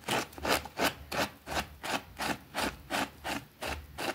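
A small, thin green fabric rug with a rabbit print, soapy and lying on a concrete floor, is scrubbed vigorously with a white plastic brush. The result is a rapid, steady run of evenly spaced, bright scratchy rasping strokes, each a short wet swish with little low end.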